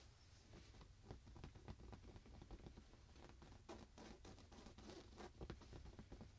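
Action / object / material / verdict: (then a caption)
scrape / fabric pillow / fabric / none. Fingertips and nails quickly scratch and patter across a soft printed fabric pillow. The result is a quiet, low-weighted stream of short, dry taps and scratchy brushes with a faint bright hiss on top. Many brief strokes cluster densely rather than standing clearly apart.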